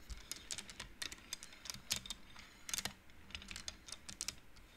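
Fingertips slide the colored wooden beads along the metal rods of a large wooden-framed abacus, making them clack together. The result is a quick, irregular run of short, bright, dry clicks that stop almost instantly, over a faint low rumble.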